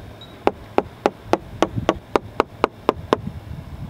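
Eleven crisp, evenly spaced taps with a mid-pitched click and no ring: a solid, well-bonded fiberglass deck.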